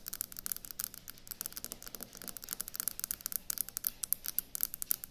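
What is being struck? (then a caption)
Quartz countertop. Long acrylic nails tap rapidly on a solid white speckled quartz or stone kitchen countertop. The result is a quiet stream of dozens of sharp, bright clicks that die away almost instantly, with little low-end body, growing slightly louder toward the end.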